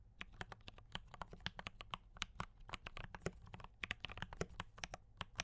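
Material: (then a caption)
Plastic. Fingertips of both hands type continuously on a D84 mechanical keyboard with cream and red plastic keycaps, tactile brown switches and a foam-dampened case. About 30 quick, dry keystrokes clack in an uneven rhythm, each a sharp bright tap over a soft low thud that dies away almost instantly.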